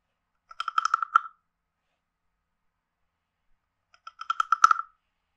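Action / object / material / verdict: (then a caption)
scrape / carved hollow wooden frog guiro / wood / none. A wooden stick scrapes along the base and ridged back of a hand-sized carved hollow wooden frog guiro in two separate strokes. Each stroke is a quick run of dry, rattling clicks with a hollow, woody tone centered around 1.3 kHz, separated by a few seconds of silence.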